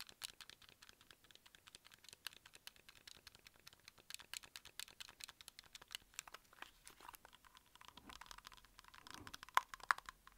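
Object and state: Plastic game controller.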